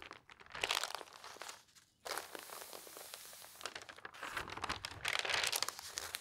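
Hands turn the pages of an open newspaper sports section of thin newsprint lying on a table and lift a sheet into the air. Dense, bright crinkling and rustling build in bursts, with a brief quiet pause before the paper noise resumes and swells again at the end.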